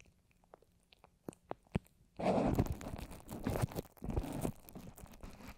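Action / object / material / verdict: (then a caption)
scrape / microphone covered in wet paper mache / paper mache / none. A microphone wrapped in plastic and covered with wet white papier-mâché strips, forming a fist-sized rounded dome over the solid mic, is tapped and scratched with long orange acrylic nails. A few soft, sharp taps come first, then a dense, low, crunchy scratching and rubbing takes over. The scratching dips briefly before continuing to the end.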